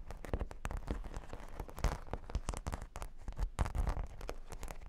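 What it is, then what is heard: Cork board with plastic pearl studs. Long nails scratch across a solid, flat cork board covered with plastic half-pearl sticker studs, and the board is shifted by hand. The result is a dense, rapid run of dry crackling clicks and scrapes with a heavy low thump underneath and quick bright ticks on top.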